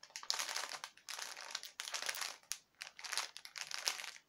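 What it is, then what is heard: Crinkled plastic bag of fake spider web. A clear cellophane package filled with white synthetic spider web and small plastic spiders is held in both hands and crinkled and squeezed with the fingers and nails. Bright, crackly crinkling comes in several bursts separated by short pauses, almost entirely high-frequency with no low end.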